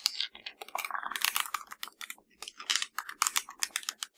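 Fingertips and nails quickly tap and press the rubber buttons of a hollow black plastic LG TV remote. The result is a rapid, irregular stream of dry, bright clicks and taps that stop almost instantly, with no low end.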